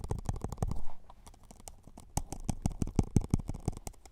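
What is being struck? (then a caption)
Plastic cup. A plastic Solo cup is tapped softly and rapidly with no talking, producing dull, low, muffled thuds with a very short decay. The uneven taps grow quieter and sparser for about a second in the middle, then return a little stronger toward the end.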